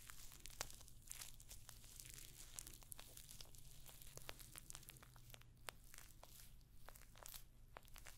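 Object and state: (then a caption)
Metal-studded clutch purse. Long nails scratch the rows of small, hollow rose-gold metallic pyramid studs on a rectangular clutch bag held close to the microphone. The result is a quiet, dense stream of crisp, bright scratching and clicking ticks over a steady low hum.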